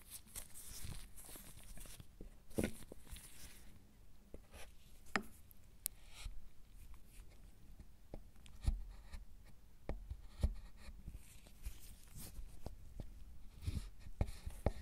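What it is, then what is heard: Milk chocolate bar being scraped. A metal wire-loop tool scrapes and carves the surface of a flat, solid milk chocolate bar about 10 cm wide lying on a bamboo mat, raising shavings. The sound is a quiet, dry, scratchy scraping broken by short, sharp ticks and clicks as the loop catches and drags across the chocolate.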